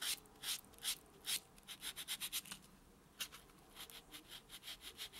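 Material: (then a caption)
Foam, nail. A white solid foam buffer block is rubbed back and forth over natural fingernails, giving a series of soft, bright, hissy scratching strokes. There are about 17 short strokes: a few spaced ones first, then a quicker run, a pause, and another run. The strokes have no low rumble and die away quickly.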